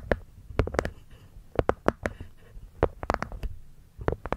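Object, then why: Small hollow wooden box with cork lid. Long manicured nails tap and scratch the cork lid of a small, hollow, hexagonal light-wood box resting over a furry microphone windscreen. Short, dull, hollow taps come in an uneven series, with soft scratching between them. Each tap stops almost instantly with no ring, and the sound stays low and muffled.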